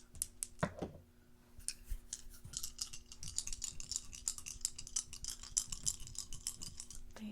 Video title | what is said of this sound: ASMR Intuition Test - Guess the ASMR Trigger | have a little hole drilled through them, so I think that they just make the nicest kind of hollow sound